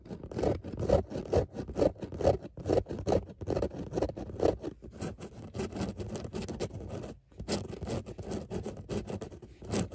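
Long natural nails scratch back and forth across a grey textured fabric car seat, a soft padded surface with raised circular dots. Quick, rough, dry scraping strokes repeat at about two per second, with a muffled, low-mid tone. There is a brief pause just after the seven-second mark.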